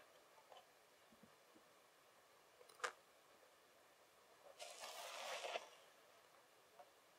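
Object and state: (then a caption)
Loose kinetic sand crumbled by hand. A pile of loose, crumbled kinetic sand is picked up and crumbled between fingertips over the table. Faint ticks give way to a sharp, bright crackle, then a longer, grainy rustling burst as the sand breaks apart and falls, before it settles back to quiet.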